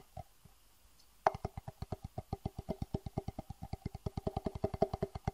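A small, hollow, empty clear plastic box is held upright and tapped and rubbed with the fingertips. A couple of soft early taps give way to a steady, quick run of dry, hollow knocks with a mid-pitched plastic tone, 31 taps in all. Each tap dies away almost instantly.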